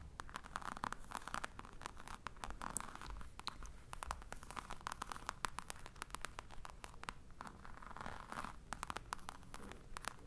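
A medium black hard case with a crocodile-embossed faux leather cover and metal clasps, hollow, is held in one hand while the long nails of the other hand scratch and tap its textured front. Quiet, dense scratching mixes with sharp, bright clicks and taps over a low, hollow rumble throughout.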